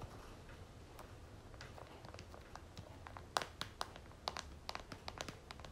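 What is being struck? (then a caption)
Plastic squeeze tube of lotion. Long nails quickly tap the back of a pink and gold plastic squeeze tube of lotion held in a hand. It makes a rapid, irregular run of short, sharp, bright clicks over a soft, quiet background hiss, with the taps growing louder in the second half.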